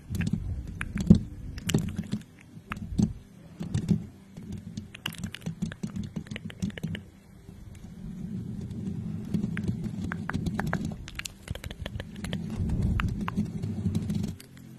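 Long painted nails on both hands scratch and tap the domed metal mesh grille of a pink, hollow, desk-sized USB condenser microphone. The result is dense, close, low-heavy scratching with many quick, dry ticks and brief bright clicks scattered over a steady rumbling rustle.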